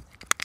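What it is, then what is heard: Ray egg case, natural not plastic. A ray egg case found on the beach is handled, giving two short, bright crinkly clicks. It sounds like plastic, but it is a natural ray egg case, not plastic.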